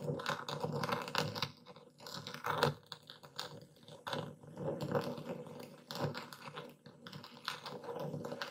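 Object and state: Epsom salt crystals being crushed.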